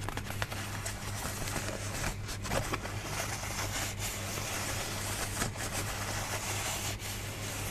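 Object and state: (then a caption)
Paper folding fan. A rainbow pleated paper folding fan with a white scalloped base, held in both hands, is rubbed and scratched along its pleats with long nails. Steady crinkling, scraping and crackling continue throughout, with a low steady hum underneath and a few brief louder scratches.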